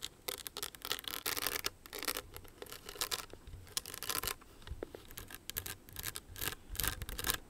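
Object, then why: Rhinestone-studded clutch purse. Long nails scratch and tap the jeweled surface of a small, hollow, owl-shaped rhinestone clutch purse held in both hands. Bright, crisp scraping bursts alternate with quick clicking taps that stop almost instantly, with little low-end body.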